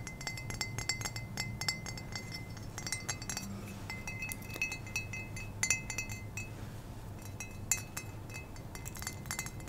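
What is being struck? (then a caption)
Small ceramic mug. A small, hollow ceramic mug, cream with red speckles and a black cow-print patch and apparently empty, is held in the hand and tapped with painted fingernails close to the microphone. Quick, irregular taps give bright, glassy clinks that die away almost at once, over a steady low hum.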